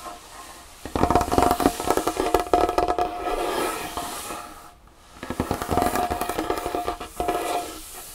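Long fingernails of both hands tap and scratch quickly across a large solid wooden tabletop. Two bursts of dense, uneven clicking and scraping are split by a brief quiet pause near the middle. A faint steady ring sits around 700 Hz beneath the taps.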